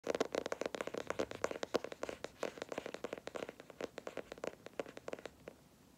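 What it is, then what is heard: Cardboard sketchbook cover. Both hands scratch and tap the flat, stiff dark grey cardboard cover of a large spiral-bound sketchbook, held upright, using short nails and fingertips. The result is a rapid run of about 37 dry, short scratches and taps with a hollow mid-range tone around 480 Hz and almost no ring. The taps grow quieter and sparser toward the end.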